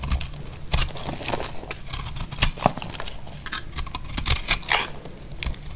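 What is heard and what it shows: A thin dark utility knife blade, held in one hand, scrapes and shaves the edge of a hand-sized solid bar of dry orange-and-white soap held in the other hand, whose long dark-red nails are visible, sending flakes onto a pile of shavings. Repeated short, dry, crackly scraping and cutting strokes sound with bright, crisp edges over a low rumble.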